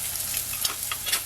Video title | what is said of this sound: Healthy2dollareats version of the Cheesesteak, inspired by Texadelphia, thanks for the great times | check out how crispy these chips are